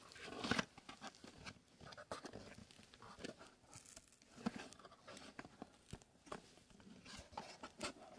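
Fingertips with long painted nails, in fingerless gloves, tap and handle a small, hollow, elongated kraft-brown cardboard box printed with "Fox," held in both hands. The result is a quiet, irregular run of quick, dry taps with crinkly, crunchy handling noise between them, and each tap dies away almost at once.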